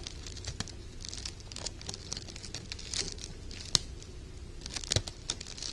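Fingertips and short painted nails crinkle a scrunched bunch of gold glittery sheer organza ribbon with wire edges. The result is a steady, fine, bright crinkling and crackling over a faint low rumble, with a few sharper snaps standing out.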